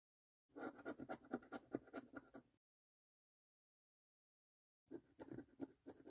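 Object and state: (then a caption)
Paper scratch card being scratched. A coin held in the fingers scratches the latex coating off the number area of a thin, flat, printed cardboard National Lottery "Bank The Cash 15" £1 million scratch card lying on a table. Quick, short, dry rasping strokes come in two bursts, with a silent gap between them. The scratching is dull and mid-pitched, with very little bright edge.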